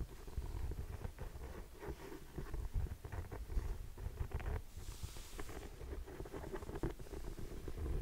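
Long painted nails tap and scratch the suede upper of a single grey suede ankle boot with a buckle strap, held hollow and empty in the hand. The result is a soft, muffled, low patter of quick taps mixed with rustling scratches that runs steadily throughout, with a brief brighter scratching hiss partway through.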